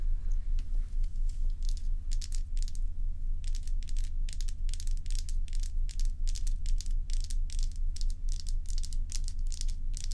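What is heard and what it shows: Long acrylic nails scratch and tap the frosty surface and rim of a large, solid, bowl-shaped block of ice. Bright, crisp scraping and clicking bursts repeat at a steady, fairly regular pace over a constant low hum.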